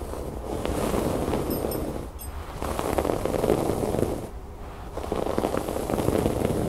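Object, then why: Fabric cushion with raised cord embroidery. Fingernails scratch and pick at the raised brown cord embroidery on a cream fabric cushion, making a dense, gritty scratching and rustling. The texture comes in three steady bursts with brief quieter dips between them, and a few faint bright chirps appear early on.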